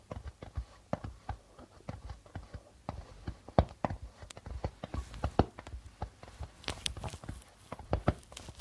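Fingertips of both hands tap on the white plastic membrane of a hollow darbuka drum. The result is a steady run of quick, dull, low thuds centred around 80 Hz, each dying away almost at once. Faint bright bursts of hiss drift in during the second half.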